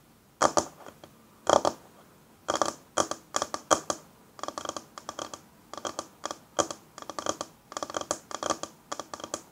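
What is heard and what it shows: Long fingernails quickly tap and scratch a flat, solid wooden tabletop. The result is a close, dry series of clicks and scrapes with very little low end and bright edges. Clusters of fast taps alternate with short scratching strokes.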